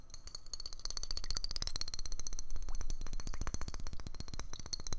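A small, hollow, frosted white glass bottle with a metal screw neck is held in the hands and tapped quickly with the fingertips. The result is a fast, uneven run of short, dull taps with very little ring, plus a faint high glassy tone above them.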